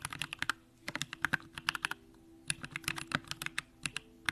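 A Bakeneko65 compact mechanical keyboard, with an aluminum case, pink plastic keycaps and Durock lavender switches, is typed on continuously with the fingertips of both hands. About 25 short, crisp keystrokes click with bright, high detail centered near 1.6 kHz, with a brief pause in the middle. A faint steady hum sits underneath.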